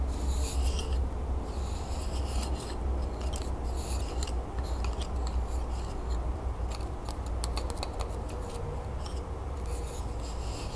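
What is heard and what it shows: Long nails scratch along a hand-held bundle of sharpened, bark-covered wooden twig pencils, moving over the bark and the sharpened tips. Dry, bright scratching comes in short, uneven bursts over a steady low hum that stays at a fairly constant level throughout.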